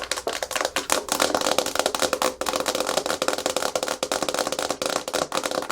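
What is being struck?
Hard plastic surface.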